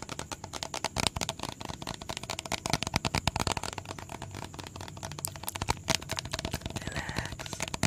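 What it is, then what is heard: Plastic bottle tapped with fingertips and nails. A medium, hollow blue plastic bottle with a red cap is held in the hands and tapped quickly with fingertips and nails. The result is a dense, rapid stream of short, dry clicks and taps, with bright nail ticks over a hollow low thump and no ring after each hit.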